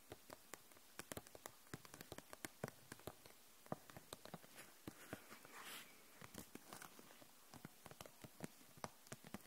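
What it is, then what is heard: Plastic marker set in plastic pack. Long nails tap the barrels of a row of plastic felt-tip markers held upright in a clear plastic package, giving a quiet, irregular stream of about 38 short, dry plastic clicks with almost no ring. Around the middle, a soft, bright rustle of the package briefly rises under the taps.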